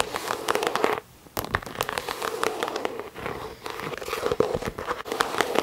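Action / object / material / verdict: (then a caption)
tap / croc-embossed faux leather handbag / faux leather / none. A medium pink croc-embossed faux leather handbag with a pink chain accent, hollow and held up, is tapped and scratched on the front with long nails. Rapid, crackly taps and dry scratching run almost continuously, with a hollow mid-pitched resonance under them and a brief quiet pause near the one-second mark.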